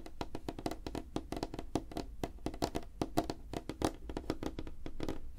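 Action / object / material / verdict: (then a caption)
tap / light wooden tabletop / wood / none. Fingertips and nails of both hands tap quickly on a flat, solid, light wooden tabletop. The result is a rapid, uneven stream of short, dry knocks with a hollow woody tone around 300 Hz. Each tap dies away almost at once, with faint bright clicks from the nails.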